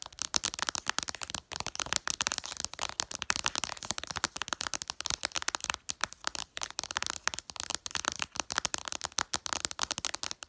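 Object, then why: Glass smartphone screen. Long purple nails tap rapidly on the glass screen of a smartphone lying flat, its app icons showing. A dense stream of sharp, bright clicks with almost no low end runs continuously, each tap dying away almost instantly.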